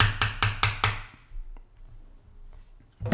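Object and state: Extracted human tooth tapped with a spoon.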